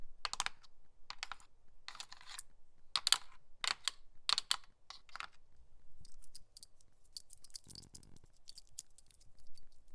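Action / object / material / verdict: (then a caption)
tap / plastic seedling tray / plastic / none. A seedling tray (nursery tray) is tapped and scratched with a nail worn on a finger. It gives sharp, dry clicking taps in quick bursts, with brief scraping between them.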